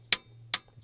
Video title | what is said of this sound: Will it START? V12 Supercharged 2 Stroke GM Detroit Dump Truck SITTING for YEARS | that one's seized it's quite solid to tap on